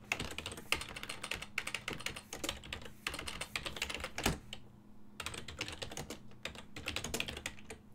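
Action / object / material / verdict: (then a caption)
tap / plastic computer keyboard / plastic / none. A full-size black and silver plastic desktop keyboard, its keys set on a hollow body, is typed on with the fingertips of both hands. It makes a rapid stream of bright, clacky key taps with short hollow thuds. The taps pause briefly past the middle before resuming, over a faint steady low hum.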